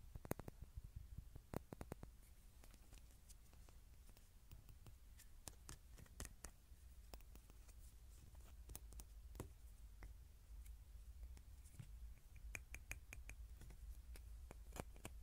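Fingertips and nails tap and scratch the outer wall of a tiny white ceramic cup with a SpongeBob print, hollow and empty, held in the hands. Quick, bright clicks and ticks come in irregular clusters, each dying away almost instantly, with soft scratching between them. The whole clip stays quiet over a steady low hum.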